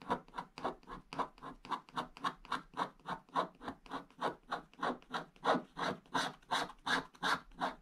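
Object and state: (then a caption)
Scratch-art paper being scratched. A wooden stick scratches the black wax coating of a flat scratch-art page over blue foil paper near its lower right corner. About 30 quick, rhythmic scratching strokes come at roughly three per second, each a dry, raspy burst centered in the mids with a bright, airy top and almost no low end.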